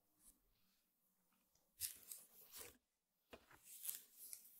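Both hands scratch and tap across the coiled weave of a flat, square woven rattan table mat lying on a table, using long painted fingernails. Dry, bright crackling scratches come in bursts, separated by brief near-silent pauses. The sound is mostly high-pitched rustle with very little low end.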